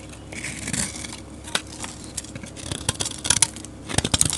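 A metal blade scrapes flakes off the face of a solid, dark grey rectangular soap bar. The result is bright, crisp scraping and crackling in uneven bursts, with sharper snaps toward the end.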